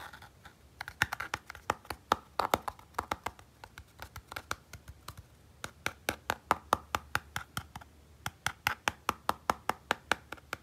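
A fingertip and nail scratch the textured back of a small, hollow red plastic Nintendo Game & Watch handheld, then the device is turned over and fingertips click its front buttons. The result is a quiet, irregular string of short, dry plastic clicks and taps, centered around 1.2 kHz with bright edges, each dying out almost instantly with no ring.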